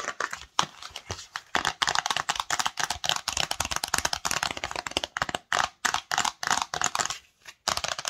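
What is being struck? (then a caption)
Small cardboard box. Long nails rapidly tap and scratch the front, back and edges of a small, hollow, pink, white and rose-gold printed Cosmo cardboard cosmetics box held in the hands. The result is a fast, dense run of crisp, papery clicks and scratchy rasps. The sound is bright and dry, with almost no low end and no ring after each hit.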